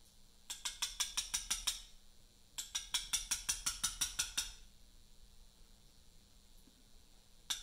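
A steel chisel struck by a small round mallet carves letters into a large solid pale Portland limestone memorial block resting on a workbench. About twenty short, bright, dry taps come in two quick runs with a pause between them, then one last tap near the end, each dying away almost at once.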